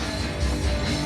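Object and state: Nothing is struck.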